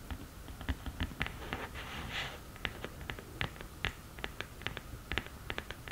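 Long nails tap and scratch the textured surface of a black glittery cardboard eyeshadow palette lid. Crisp, dry clicks with bright edges come in an uneven run over a soft hiss, with a brief scratchy swish in the middle. Each tap stops almost at once.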